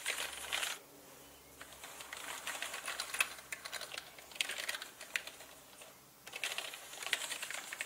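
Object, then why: Plastic mechanical keyboard. Slow typing with fingertips on a full-size black mechanical gaming keyboard with plastic keycaps and a hollow body gives bright, clicky keystrokes. The clicks come in uneven bursts with short pauses between them.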